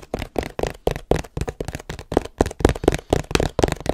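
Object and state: Cardboard box, hollow.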